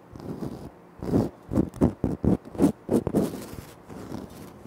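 Fingertips tap and scratch on a flat, solid, speckled granite floor tile. A soft scratching rasp gives way to a quick run of short, dull, low-mid taps with scratchy edges, then fades back into light scraping.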